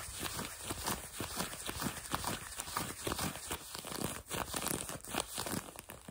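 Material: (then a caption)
Denim. Fingertips and nails rapidly scratch blue denim jeans fabric stretched over a leg or knee close to the microphone, possibly with some light tapping. The result is a continuous stream of dry, raspy scrapes with bright, hissy texture and soft low thumps, rising and falling in quick bursts without pause.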